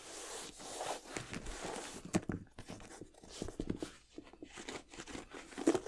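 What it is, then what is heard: Leather sneaker upper, scratched. Fingertips and nails rub and scratch the leather upper of an empty white leather high-top sneaker held up close. The sound is a quiet, continuous mix of dry scratching and soft rubbing, with occasional sharper scrapes and light crinkly taps.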